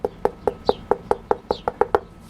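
Eleven quick, dry knocks on the carbon composite boot of a Mission FZ-0 hockey skate, a relatively new material similar to carbon fiber. Each tap is a short, hollow, mid-pitched click that dies away almost instantly, evenly spaced over about two seconds.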